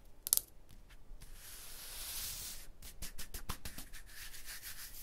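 An open palm and fingers rub over a rough, textured stone block wall. A sharp scratch comes first, then a steady bright hiss of skin dragging across the stone, followed by a run of short, quick scrapes with only a few distinct hits.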